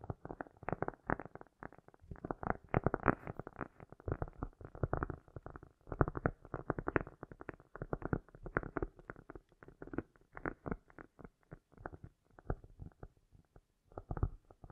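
A round, flat, solid cork coaster is tapped quickly by both hands with long nail tips and scratched across its surface, with an echo effect applied. The result is rapid bursts of dull, soft, muffled taps and rustling scratches, mostly low and mid in tone with no bright edge. Each tap dies away quickly but trails into the echo.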